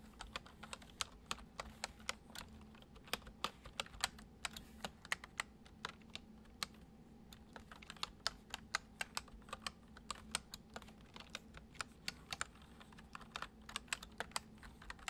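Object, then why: Plastic computer keyboard. Fingertips type steadily on a full-size white plastic computer keyboard resting on a wooden desk. Dozens of short, bright key clicks die away almost instantly over a soft, constant low hum. The typing keeps an uneven but continuous rhythm at a quiet level throughout.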